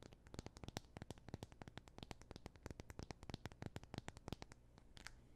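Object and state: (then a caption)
Glass-backed smartphone. A thin, solid black Android phone with a glass back, held near the microphone, is tapped and scratched with fingernails. A rapid, uneven series of sharp, dry clicks and light scratches runs throughout, each cutting off almost instantly over a low, steady hum.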